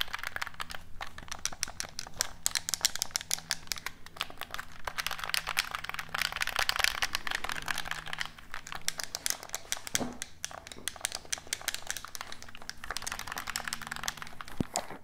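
Fingertips tap and scratch a black hollow plastic gamepad close to the microphone. A steady stream of quick, dry plastic clicks and crinkly scratching fills the clip, bright and crisp on top with a faint low hum underneath.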